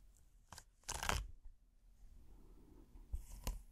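A thin, flat, hexagonal red silicone trivet with a textured dotted surface is held up in one hand and slowly scratched with the fingernails of the other. Four dry, rasping, bright scratch bursts stand out, with the longest and loudest near the one-second mark, over a soft low rumble and faint rustling in between.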